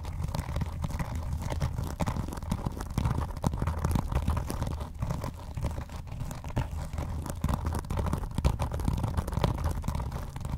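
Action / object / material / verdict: scrape / vinyl-covered binder / vinyl / none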